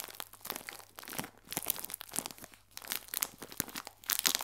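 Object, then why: Plastic film bag of biscuits. A clear plastic film bag full of biscuits is squeezed, then scratched along the film with a fingernail. Bright, dense crinkling and crunching comes in irregular bursts, with sharp scratchy hiss on top and almost nothing low.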